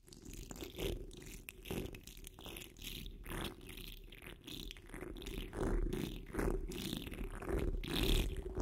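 Fingertips and long nails claw and scratch at a hollow metal mesh microphone dome while hands cup the grille. The result is a dense, muffled low rumble with irregular bursts of bright, raspy scratching that swell and fade throughout.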